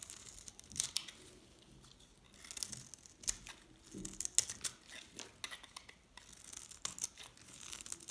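A knife cuts flakes off a hand-held, solid green Dalan & Duru painted dry soap bar with a pink edge, and the flakes fall into a pile. The clip is made of quiet, dry, crisp scraping and cutting strokes with a bright, high crackle. Each short burst stops almost at once.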